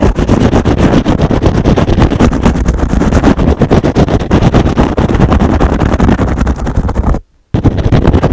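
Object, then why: Foam kitchen sponge with abrasive scrub pad. A foam kitchen sponge with a green scrub pad is held in one hand while the fingernails of the other hand scratch rapidly at its edge and scrub pad. The result is a dense, continuous, rough scratching that is heavy in the low end. It breaks off into a brief silence just after seven seconds, then starts again.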